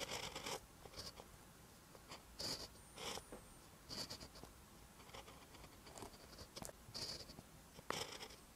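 A pen held in the fingers writes green text on a lined paper notebook page, its tip scratching the paper. Short bursts of bright, dry scratching come in quick strokes separated by brief pauses, with almost no low end.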